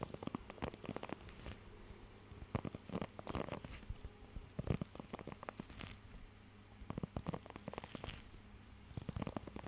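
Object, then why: Rubber grooming glove with nubs. Fingertips scratch and tap across the raised nubs of a blue rubber pet hair grooming glove held close to the mic. The result is a quiet, low-heavy stream of short, dry, crackly taps and rubbing scratches, coming in irregular bursts over a faint steady low hum.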